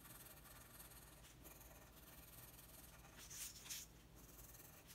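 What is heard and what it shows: A red wooden colored pencil rubs and scratches across a flat, thin sheet of white drawing paper lying on a table in steady coloring strokes. It makes a quiet, continuous bright scratching hiss, and two louder, sharper strokes stand out near the end.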